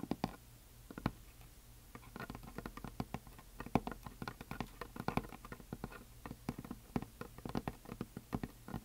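Long nails tap across the surface and top edge of a flat, solid, heart-shaped painted wooden plaque decorated with glitter. Many quick, dry, uneven taps land in irregular bursts over a faint steady low hum, each click dying away almost instantly.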